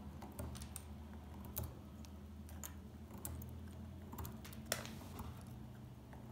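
A small metal pick chips and scratches flakes off the surface of a solid, dry beige soap bar resting on a table. Short, dry, bright clicks and scraping ticks come at irregular intervals over a steady low background hum, each dying away almost instantly.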